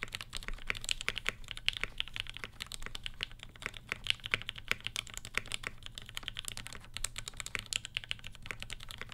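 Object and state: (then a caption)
Mechanical keyboard with ABS keycaps. Both hands type continuously with fingertips (short nails, rings on the fingers) on a black 75% Satisfaction 75 R1 mechanical keyboard with Gateron Ink switches with Tangie tops, an FR4 plate, a hollow case, and black and pink GMK Olivia ABS keycaps, resting on a floral desk mat. The result is a steady stream of short, crisp, bright keystroke clacks with almost no ring, over a faint low rumble.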